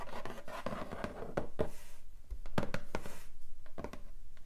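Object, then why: Cardboard box lid. Long nails and fingertips tap and rub across the lid of a long, flat, hollow pink cardboard keyboard box. Irregular light taps sit over a continuous dry scratching rub, and each short, hollow tap dies away almost instantly.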